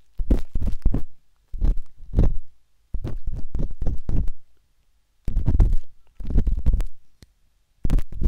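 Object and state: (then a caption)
Silicone ear scratched with a metal tool. The thin metal tip of a wooden-handled dot stick scratches inside the ear canal of a pale pink, soft and solid silicone ear on a binaural microphone. Six bursts of rapid, muffled scratching and tapping are separated by short silences. The sound is deep and rumbling, with almost no high content.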